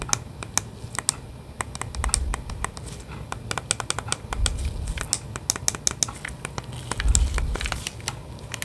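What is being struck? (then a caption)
Hollow plastic game controller. A hand-sized, hollow plastic Nintendo Switch controller in its grip is held in both gloved hands in front of the microphone while fingertips press its buttons. A steady run of short, bright, clicky presses and taps is heard, with soft low handling rumbles that swell around two, four and a half, and seven seconds. Each click dies away almost instantly.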